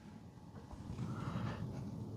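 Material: Nothing is struck.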